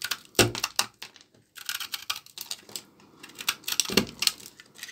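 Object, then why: Laundry soap bar. A small blade scrapes and cuts shavings off a solid bar of dry, old, dark brown laundry soap held in the hand. Crisp, bright scraping and clicking cuts come in quick bursts, with a couple of sharper, fuller snaps standing out near the start and again toward the end.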